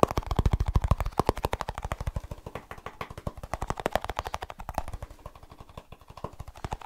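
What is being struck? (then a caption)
Small snus container. A small snus container is tapped fast with fingertips, giving a rapid run of about 48 short, dry taps. Each tap has a dull low thump and a mid-range knock, dies away almost at once, and gradually grows quieter after the first second.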